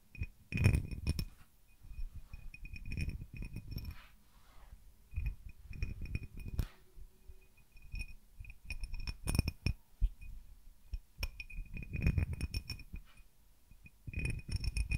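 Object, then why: Cut crystal tumbler. An empty, clear cut-crystal tumbler held in one hand is tapped on its patterned sides with fingertips and nails. Irregular clusters of quick, soft taps mix dull low thumps with short, bright glassy clinks that die away almost at once.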